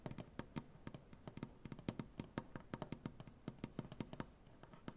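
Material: Wood.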